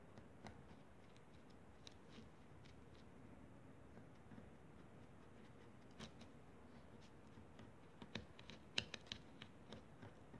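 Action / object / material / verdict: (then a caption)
scrape / kinetic sand on a foil plate, wooden toothpicks / sand / none. Two wooden toothpicks rake and scratch through a crumbled heap of pink kinetic sand on a foil paper plate. Soft, faint gritty scraping runs under a quiet, low background, broken by sharp, bright little ticks. About eleven of these ticks stand out, sparse at first and bunching together near the end.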